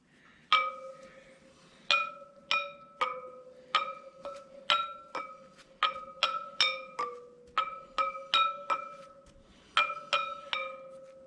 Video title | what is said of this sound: 2023 Harley Davidson Pan America 5000 Mile Service Part 2: Checking and Setting Drive Chain Tension | now you can hear how they all have a sound to them